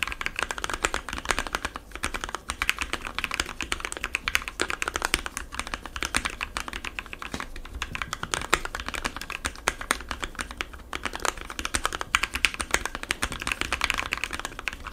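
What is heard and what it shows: Fingertips of both hands type rapidly on a compact 60% mechanical keyboard with white, blue and yellow plastic keycaps, lubed Gateron switches and foam inside the case. A dense, steady stream of short, bright plastic clacks follows, each keystroke dying away almost instantly with little low-end thump.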